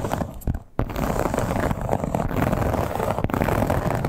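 Long black-tipped acrylic nails on both hands scratch the embossed scales of a flat, hollow, soft red crocodile-embossed leather clutch. A dense, continuous rasping texture with a low, muffled body briefly dips quiet, then resumes with a sharp tap and keeps going steadily to the end.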